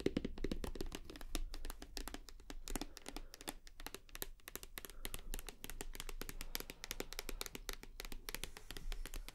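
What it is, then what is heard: Full plastic bottle. Long nails tap rapidly on the side and front of a full white plastic shower gel bottle. The result is a dense stream of short, dry, bright clicks that stop almost instantly, over a steady low hum.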